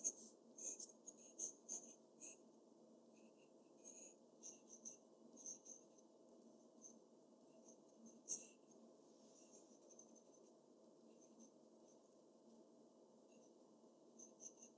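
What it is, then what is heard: Pencil sketching on paper. The graphite tip of a black pencil sketches on a large, flat sheet of white drawing paper in short, scratching strokes. Bright, dry scratches and ticks come in quick bursts over the first few seconds, with one sharp stroke near the middle. Lighter, sparser scratches follow over a steady, quiet low hum.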